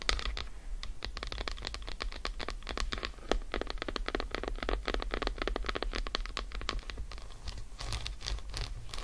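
An unwrapped solid dark chocolate bar resting on faux fur is scratched and rapidly tapped with long acrylic nails. A dense, steady stream of sharp clicks and scratchy rustling runs throughout over a low, constant hum.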